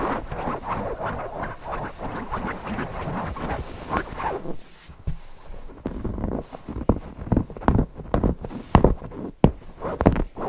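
Fingertips scratch and rub the floral cotton fabric of a stuffed owl cushion, first on its back and then on its front side. The first half is a steady, dense, dull scratching; after a brief quieter moment it becomes softer rubbing punctuated by short, sharp scratches. The sound is muffled and low-heavy, with almost no bright highs.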